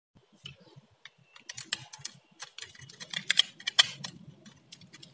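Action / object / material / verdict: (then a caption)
scrape / bar of soap scraped with a metal blade / soap / none. A palm-sized solid blue Lux bar of dry soap, held in the hand, is shaved and scraped with a metal utility-knife blade, raising crisp flakes. Short, dry, bright crackles and scratchy clicks come in an irregular run, growing denser and louder toward the middle over a faint low rumble.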